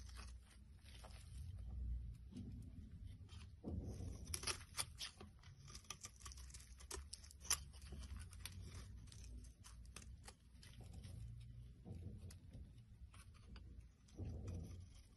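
A black blade scrapes the surface of a solid yellow soap bar held in the hand, with shavings piled nearby. Quiet, crisp scraping and crackling ticks ride over a steady low rumble, with a few sharper, bright scratches standing out.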